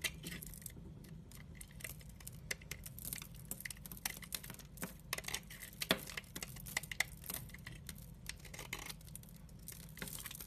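A utility-knife blade scrapes and cuts crumbly shavings off a solid, translucent amber glycerin soap bar with a dry surface, held in the hand. Dense, dry crackling scrapes and small crisp snaps with bright, high hiss run throughout, over a low steady hum, with a few sharper cuts standing out near the middle.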